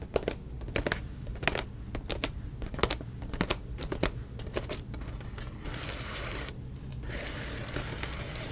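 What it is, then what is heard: Plastic bubble mailer. Long nails tap quickly and sharply on a silver plastic bubble mailer standing in an open box, giving crisp, clicky ticks over a low steady rumble. After about five and a half seconds the tapping gives way to a bright, crinkly scratching across the bubbles, which pauses briefly and then continues to the end.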